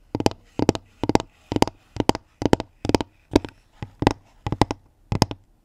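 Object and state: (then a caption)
Wooden basket lid tapped with nails. Long nails tap on the round, flat pine-wood lid of a pink woven basket that is hollow beneath. The sound comes in quick clusters of two or three dry taps, repeated steadily with short pauses between. Each tap gives a short, hollow knock with a mid-low woody tone and almost no ring.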